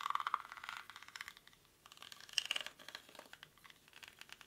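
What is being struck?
Woven rattan basket.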